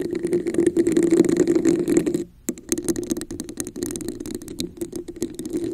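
Long nails scratch and tap the sides of a red, hollow, textured plastic cup held over a microphone. A dense, hollow-sounding scratching with a steady midrange resonance fills the first two seconds, then stops for a brief near-silent pause. Quicker, uneven taps and scrapes with bright clicks follow.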